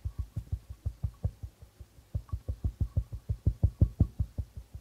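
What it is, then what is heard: Darbuka drum with plastic head. Fingertips of both hands tap rhythmically on the plastic membrane head of a hollow darbuka drum. They make a fast run of short, deep, soft thumps with a little mid-range knock. The taps pause briefly midway, then resume and grow slightly louder.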